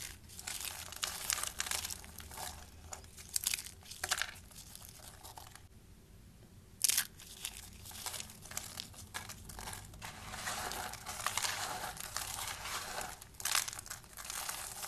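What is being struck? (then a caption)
Soap shavings. Bare fingers grab, squeeze and crush handfuls from a pile of dry pale green and pink soap shavings, giving steady bright, crisp crunching and crinkling. The crunching briefly drops to near silence around the middle, then resumes with a sharp burst and continues dense and dry to the end.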